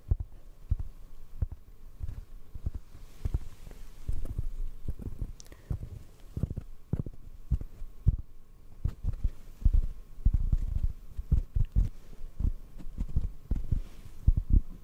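Fingertips and nails tap a hollow black foam microphone cover in a steady, uneven series of soft taps. Each tap lands as a deep, muffled thump that dies away almost instantly, with faint thin clicks from the nails above a low background hum.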